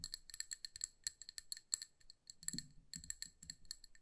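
Long nails tap the rim and sides of a hand-sized amber glass jar filled with candle wax, making about two dozen quick, quiet, bright clicks. Each tap stops almost at once with no lingering ring. In the second half, duller low knocks mix in with the sharp glassy ticks.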